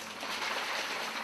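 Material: Nothing is struck.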